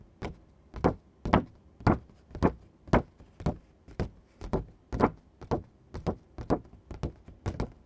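Fingertips and nails tap and scratch a thin green construction paper card sheet, then both hands lift and flex it. The result is a steady series of soft, dull taps, each with a brief bright papery edge that dies away almost at once.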